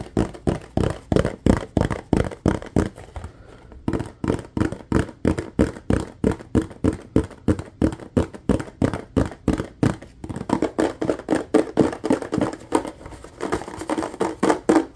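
Fast fingertips tap on the sides of a clear, ribbed, nearly empty plastic bottle with a yellow cap. The result is a rapid, slightly uneven run of short, hollow, dull taps with a low-mid body and almost no ring. There are brief lulls near 4 and 10 seconds.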